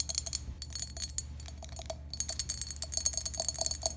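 Long pink acrylic nails tap and scratch a hand-sized, hollow, empty green glazed ceramic toothbrush holder with three holes in the top. Rapid, bright, clicky taps with a very short high ring come in quick bursts, pause briefly around the midpoint, then resume more densely over a faint low hum.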